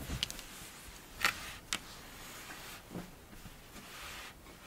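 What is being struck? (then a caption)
Kinetic sand pressed and scratched with fingernails. A pink kinetic sand mound is cut into, then pressed and scratched with long blue-tipped nails and fingertips. Soft, grainy crunching and scraping is broken by a few short, bright clicks that fade almost at once against a quiet, hissy background.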